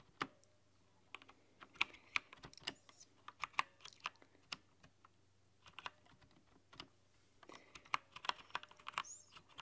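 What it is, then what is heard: Mechanical keyboard typing. Both hands with long nails type on a rainbow-lit, backlit mechanical keyboard with translucent plastic keycaps. Bright, crisp keystroke clicks come in irregular bursts with short pauses; each one is sharp and dies away almost instantly. A faint, steady low hum sits underneath.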